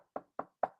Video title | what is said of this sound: Who Might Make It? - #Raiders Signed 17 Undrafted Free Agents - Who Do You Like? | I hope y'all can hear that I'm knocking on wood